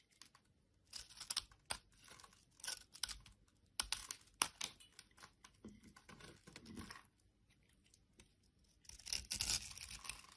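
A solid orange bar of soap, held in the hand, is scraped with a metal blade into crumbly granules while a teal soap bar lies nearby untouched. Quiet, bright, crisp scraping and crumbling bursts with a dry tearing texture come in uneven strokes. The sound goes nearly silent for a moment before one last dense stretch of scraping.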